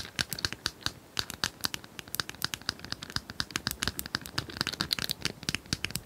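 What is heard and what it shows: Long nails scratch and tap the tiles of a hand-sized, multicolored plastic tiled cylinder puzzle held upright. The result is a quick, uneven run of crisp, bright clicks with short scratchy scrapes between them, each tap dying away almost at once.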